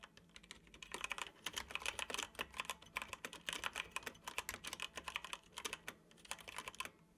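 Fingertips tap the keys of a dark plastic computer keyboard in fast, continuous typing. Each keystroke is a short, dry, bright click with almost no low end, and the clicks run together in quick bursts with brief pauses between them.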